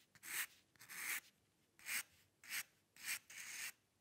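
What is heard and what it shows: A metal dip pen nib scratches across a white paper sheet resting on a dark table, drawing long hair lines. Quiet, dry, bright scratching strokes come in separate bursts of about half a second each, with short near-silent gaps between them.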